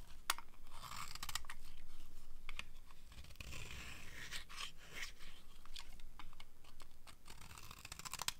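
A metal knife blade repeatedly scrapes the edge of a solid rectangular bar of dry white soap held in one hand, shaving off thin crunchy curls. Quick, dry scraping crunches with sharp clicks follow one another unevenly throughout, with bright hiss over a low rumble.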